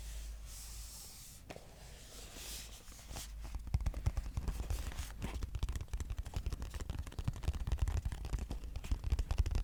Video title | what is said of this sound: Tap Yourself To Sleep - ASMR (Extreme Box Tapping) | This has got quite a lot of weight to it, so it makes the tap seem less vibrant but more impactful